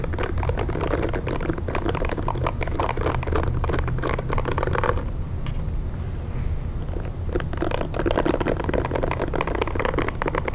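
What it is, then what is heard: Plastic hair brush. A pink plastic hair brush is held in one hand while fingertips and nails tap and scratch its plastic bristle pad and shell. Dense, rapid crackly taps and scratches run over a steady low rumble, softening into a quieter stretch near the middle before the brisk tapping returns.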